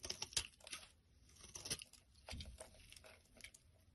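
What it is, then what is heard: Bar of soap being scraped. A black blade scrapes crumbly flakes off a solid lilac bar of soap held in the hand. Quiet, bright, crisp scratching and crunching comes in short repeated strokes with brief pauses, a little fuller in the low end around the middle of the clip.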